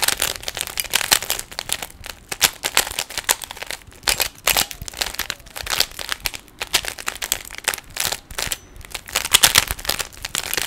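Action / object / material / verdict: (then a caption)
scrape / plastic puzzle cube / plastic / none. Fingertips twist the layers of a small hollow plastic 3x3 Rubik's cube, producing a steady stream of bright, crisp plastic clicks and crinkly rattles. The short, dry snaps come in quick irregular bursts with brief pauses between turns, with almost no low end.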